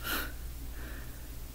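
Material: Nothing is struck.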